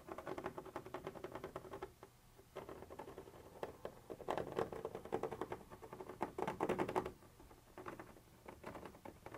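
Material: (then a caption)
Plastic. A thin metal pointer tip, held in the fingers, scratches and taps across a white translucent textured plastic surface. The result is a soft, quick, uneven patter of dry scratches and light ticks, mostly in the mid-range. It comes in bursts with brief quiet pauses between them.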